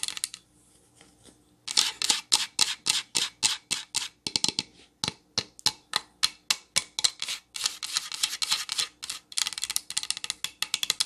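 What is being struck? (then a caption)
Pine plank sign. Long nails tap and scratch a solid pine plank sign, first held upright and then laid flat. After a brief, faint scratching start, a steady run of quick, dry, bright taps follows, each short and clicky with almost no low end or ring.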